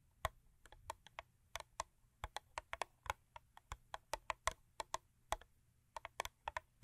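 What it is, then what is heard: Cardboard box tapped with fingernails. A thin printed cardboard Crest 3D White toothpaste box, lying flat on a fur rug, is tapped and scratched with long acrylic nails. Short, dry, crisp clicks come in quick irregular bursts with almost no ring. They sit over a faint low hum and carry a papery brightness.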